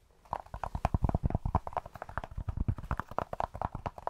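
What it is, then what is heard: Cork, tapped. A cork object is tapped close to the microphone in quick, irregular succession, giving soft, hollow, dull clip-clop knocks. Each tap is short, with a low thump and a mid-range knock, and very little brightness.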